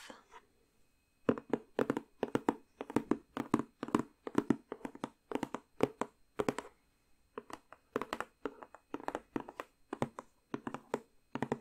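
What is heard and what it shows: Long nails tap and scratch the lid and edge of a rectangular cardboard jigsaw puzzle box. Quick, dry clicking taps come in rapid bursts with a hollow mid-low body, broken by short pauses, and each tap dies away at once.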